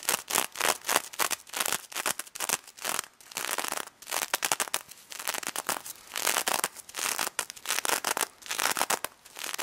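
Long red nails scratch rapidly across the plastic sequins of a pink sequin-covered stuffed plush pig toy. The result is bursts of bright, crackly, crinkling rasps with almost no low end, each stroke cutting off sharply before the next.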